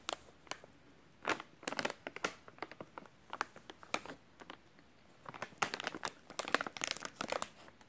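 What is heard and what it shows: A full, white soft plastic wet wipes package is crinkled and squeezed with the fingers of both hands. Dense, irregular bursts of bright, crackling crinkles come and go, with a brief lull just before the 5-second mark. Each crackle is short and dry, with almost no low end.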